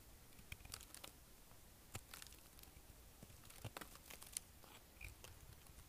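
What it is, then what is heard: Dry, hard bar soap. A kitchen knife shaves chips off the corners of a solid, dry green soap bar, now carved into a narrow block and held in the palm. Quiet, crisp crunching and brittle scraping cuts come in uneven bursts, with bright, sharp crackles over a low, soft rumble, and each sound stops dead with no ring.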